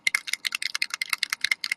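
A bottle of alcohol ink mixative is shaken, and the loose mixing ball inside rattles in a quick run of sharp, bright clicks. The rattle shows the ball is free to move and the contents are being mixed, since the ink settles out if it is not shaken.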